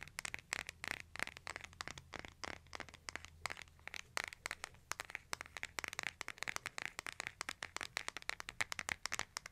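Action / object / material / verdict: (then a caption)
tap / smartphone with glass screen and plastic case / plastic / none. A hand-sized smartphone with a glass screen and a case is held horizontally in both hands while fingertips and nails tap the back and edges of the case. Dozens of quick, dry clicks and taps come in a steady irregular stream, each dying out almost instantly. Their brittle, bright tone centres around 2 kHz over a faint low hum.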